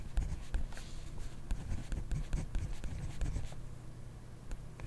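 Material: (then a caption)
Paper. A ballpoint pen held in a hand writes steadily on a grid paper notebook page resting on a desk. The pen tip scratches across the paper in short, quiet strokes, with faint bright scratchy ticks over a soft low rumble.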